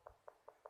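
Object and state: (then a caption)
Solidly bonded porcelain floor tile (not hollow). Four quick, short taps on a porcelain floor tile, each a dry, tight knock centered around 600 Hz with almost no ring. The tile is solidly bonded, not hollow, and sits next to a tile that sounds hollow.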